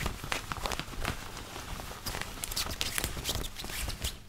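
Fingertips and nails scratch and rub a white long-sleeve woven cotton button-up shirt, worn on the body, near the buttons and chest. Soft, dry scratching and rubbing come in quick, uneven bursts of bright fabric rasp over a low, muffled rustle, with no ring after each stroke.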